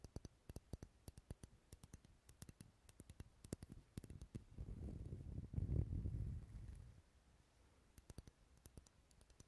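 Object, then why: Wax pillar candle. Fingernails tap the side of a lit, dark red solid wax pillar candle held close to the mic, making quick, dry, muffled clicks in an uneven patter. Midway, a low rumbling rustle swells for a few seconds and fades, then the light tapping resumes.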